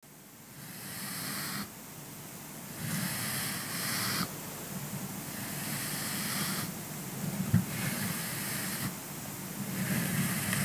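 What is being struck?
Nothing is struck.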